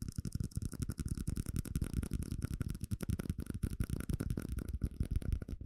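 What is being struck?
Small plastic cup.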